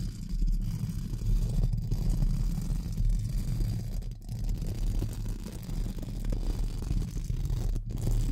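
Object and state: Metal mesh microphone grille being brushed.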